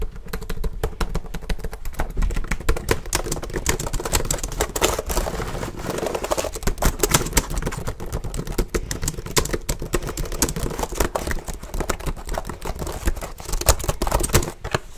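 Fingertips type fast and hard on the keys of a black plastic HP laptop held up close. A dense, steady stream of sharp, dry clicks and clacks runs for the whole clip with a heavy low-end thump under each strike. Every keystroke cuts off almost at once.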